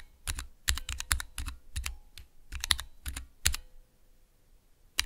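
Fingertips press keys on a small Cherry MX mechanical switch tester with clear plastic keycaps, giving a run of sharp, clicky taps. Each press is a quick snap with a bright top and a low thud underneath, coming in irregular bursts before falling quiet and ending on one last click.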